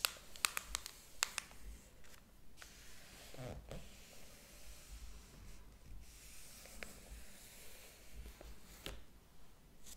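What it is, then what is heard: Paper book pages being turned. Fingertips rub and turn the paper pages of a large, thick hardcover book lying open on a table. A cluster of sharp, bright paper ticks comes first, followed by soft rustles and swishes as pages sweep over, all at a quiet level.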